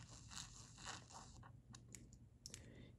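A black pen held in the fingers traces and scratches lightly across the thick drawing paper of an open, flat, spiral-bound sketchbook whose pages are covered in pencil sketches. Soft, bright scratchy strokes swell and fade over a steady low hum, with a few brief sharp scrapes near the end.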